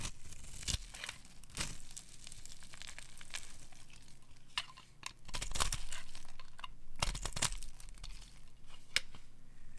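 A metal utility knife blade carves ridges into and shaves a solid, translucent brown rectangular bar of dry soap held in the hand. The result is a series of dry, crisp scraping and crunchy cutting sounds with a crinkly, bright edge. The strokes come at an uneven pace over a low, quiet background.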